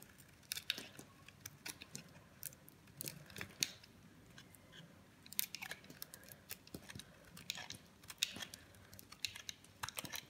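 A metal blade carves and shaves chunky pieces off a solid green bar of dry soap held in the palm. The clip is a quiet series of short, crisp, bright scraping crunches and snaps with no ring. Brief pauses fall between the cuts.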